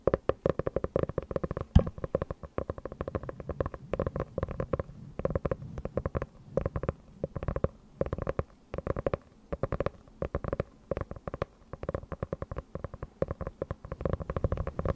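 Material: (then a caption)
Faux leather. Long nails rapidly tap and scratch the cover of a small, closed, dark hardcover notebook with a faux-leather cover, held up close to a fluffy microphone. The result is a dense, continuous stream of short, dry, muffled taps with a heavy low thump. Softer scratchy brushing fills the gaps between taps for the whole clip.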